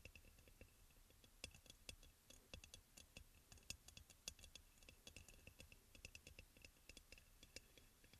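Fingertips and nails of both hands tap quickly on the body of a hollow, white crackle-glazed ceramic aroma oil burner. The result is a quiet, rapid, irregular stream of bright, clicky ticks with a faint ring near 3.4 kHz and soft low thumps beneath. Each tap dies away almost instantly.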